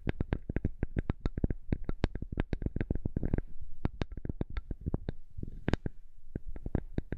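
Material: Wood.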